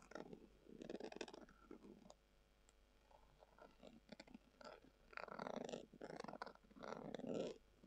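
A long acrylic nail scratches a brown, textured, leather-covered hollow tubular glasses case. It makes soft, quiet bursts of raspy scratching with a low-mid body and a few brighter edges, broken up by short pauses.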